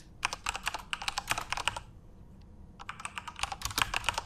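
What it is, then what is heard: Plastic mechanical keyboard. Both hands type rapidly with their fingertips on the plastic keycaps of a full-size Corsair RGB-backlit mechanical keyboard. The result is a fast run of sharp, bright clacks with almost no ring. The typing breaks off for about a second midway, then resumes just as quickly.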